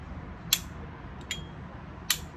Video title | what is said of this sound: Review and unboxing: Cohiba St Dupont Ligne 2. But does it Ping? | it's not a ping it's a small ping